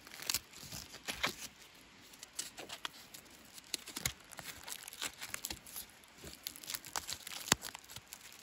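A small pointed tool and fingers scrape and peel dead bark off a long, solid, natural wooden walking stick with peeling bark, held in hand outdoors. Bright, dry crackling, crinkling and tearing sounds come in quick bursts, with sharp clicks and snaps scattered throughout as the bark flakes away.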